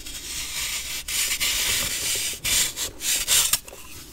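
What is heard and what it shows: A metal knife blade shaves and scrapes the surface of a solid white block of compressed baking soda held in one hand, making fine powder flake off. The sound is a bright, hissy rasping scrape in several strokes separated by brief pauses, with almost no low end.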